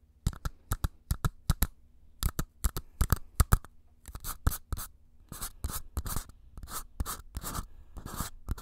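Two identical small empty paper cups, one held in each hand close to the mic, are slowly tapped and scratched with fingertips and nails. Crisp, dry taps come first, followed by longer, bright scratchy strokes. A steady low hum sits underneath throughout.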